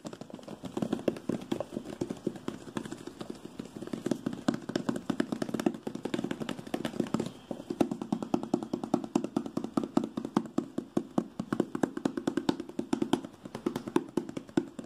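A small lime-green Moto G phone box made of printed hollow cardboard is held in hand and tapped and scratched quickly with fingertips and nails. The result is a dense, continuous run of rapid, dry clicks and scrapes with a hollow midrange body around 300 Hz, no lingering ring, and a brief lull near the middle.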